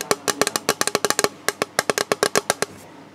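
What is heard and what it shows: Fingertips tap the underside of a hollow, rigid, clear plastic storage box with a moulded recycling mark while it is held in both hands. Nineteen quick, dry taps in uneven bursts give a hollow, slightly pitched knock around 420 Hz that dies away almost instantly.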